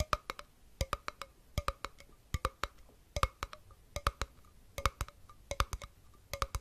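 A small, empty, hollow glass jar with a copper metal lid is held close to the microphone and tapped with fingertips and nails. About 31 sharp, bright clicks with a woody, hollow knock fall in quick repeating clusters of three to four taps. Each tap has a brief tonal ring near 600 Hz and 1.2 kHz and dies away almost instantly.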